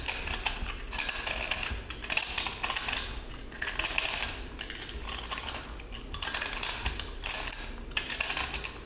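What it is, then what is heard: Pressed salt block scraped and crushed. A metal utility-knife blade cuts and scrapes a small, solid, crumbly cylindrical pressed salt block held in the hand, which has a gold glitter crust and a blue salt core. Bright, gritty crunching and scraping comes in repeated bursts as the salt crushes under the blade. Each crackle dies away quickly.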